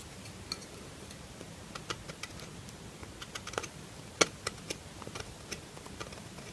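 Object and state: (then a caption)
Bar soap being carved. A metal knife edge, held in hand, scrapes and carves a solid lilac bar of soap. The clip is quiet, with 13 short, crisp, bright clicks and scrapes scattered over a soft hiss. The sharpest snap lands near the middle.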